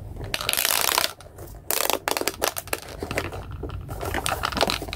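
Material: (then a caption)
Plastic. A small hollow plastic pop tube robot toy with a white plastic body and pink corrugated plastic pop-tube limbs is stretched and bent with both hands, while a yellow toy sits idle behind it. The tubes give dense, bright crinkling pops and crackles in loud bursts with short pauses, each snap dying away almost at once.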